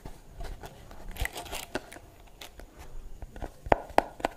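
Long blue nails scratch the bristles of a pink plastic brush with a hollow curved shell and a sticker on the back, giving soft, crackly scraping and brief rustles. Near the end, the nails tap the hollow shell four times, each a sharp, dry click with a mid-range knock and almost no ring.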